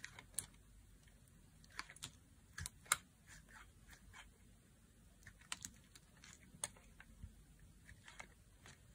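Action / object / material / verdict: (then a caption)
scrape / bar of soap cut with a knife / soap / none. A solid, translucent green bar of dry soap is held in the hand and carved with a knife blade into long curled strips. Quiet, crisp scraping cuts and sharp clicks come in scattered bursts over a soft low rumble, bright and dry with almost no ring.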